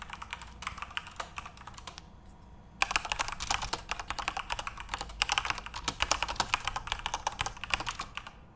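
Both hands type rapidly with their fingertips on a full-size Corsair RGB-backlit mechanical keyboard with plastic keycaps. Quick, bright, clicky keystrokes come in dense bursts, with a brief lull near the two-second mark. The typing then resumes faster and busier until the end.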